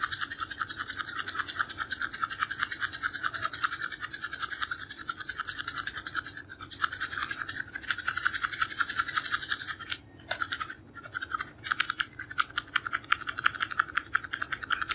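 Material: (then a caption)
Cardboard. A small, hollow purple cardboard creme bleach box is held in the hand and scratched and tapped with fingernails. It gives a dense, fast, dry scratching with a bright, papery edge centered around 1–2 kHz. After two short pauses near the ten-second mark, it continues as quicker, sharper rhythmic scratches.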